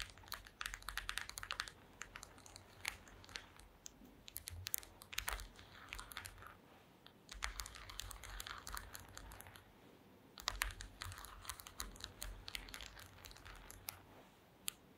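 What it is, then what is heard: Woven wooden slat mat. Very long green acrylic nails tap and scratch across a flat, thin, solid woven mat of small wooden or bamboo slats lying on a table. Quick, dry, bright clicks and scrapes arrive in dense bursts separated by brief quieter pauses, each sound dying away almost instantly, over a faint low rumble.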